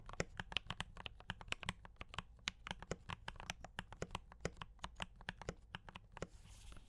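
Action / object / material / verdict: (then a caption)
tap / mechanical keyboard with plastic keycaps / plastic / none. Fingertips type, mostly with one hand, on a D84 mechanical keyboard with brown switches and cream and red plastic keycaps. About 37 short, sharp, bright clacks come in a quick uneven run, each dying away almost at once over a faint low hum. A soft hiss rises in the last half second.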